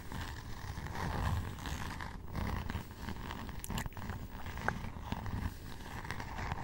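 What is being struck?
Cardboard hardcover notebook cover.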